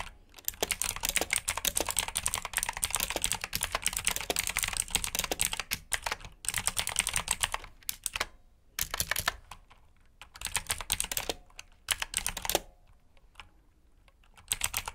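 Fingertips of both hands type fast on a black plastic backlit mechanical keyboard with blue switches, producing dense bursts of sharp, bright clicks. The runs of rapid keystrokes break into shorter flurries separated by brief pauses, and each click stops almost instantly.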